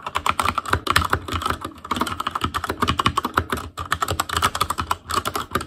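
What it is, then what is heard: Plastic mechanical keyboard. Fingertips of both hands type rapidly on a full-size ASUS ROG Claymore Core mechanical keyboard with plastic keycaps on Cherry MX Red switches, a metal plate, a hollow case and RGB backlight. Many quick, overlapping key taps sound as short plastic clacks with a low thud underneath and brief, dry decay.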